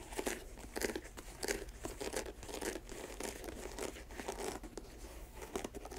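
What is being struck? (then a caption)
Leather sneaker. Long nails tap and scratch the leather upper and air-bubble sole of a white leather Nike Air Max sneaker, held in hand, hollow and empty. Quiet, irregular bright clicks and dry, crinkly scratching bursts come in quick clusters over a faint low hum. Each tap dies away almost instantly.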